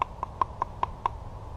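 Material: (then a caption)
Polyester. Knuckles knock six times on a heavy-duty polyester (not Kydex) sheath for a Buck Mesa knife, giving short, dry taps with a tone near 1 kHz that die away almost instantly. The firm knocks show the sheath is a solid piece.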